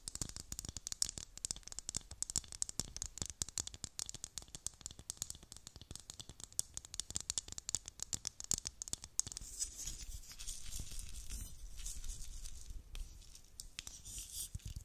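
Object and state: Plastic dome filled with beads.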